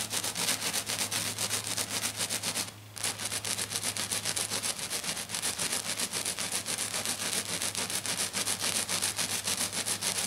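Both hands scratch fast and hard with short dark-painted fingernails across a flat silver glitter sheet lying on a table. The result is a dense, bright, hissy scratching in quick, uneven strokes over a faint steady low hum, with a brief pause just before the three-second mark before the scratching resumes.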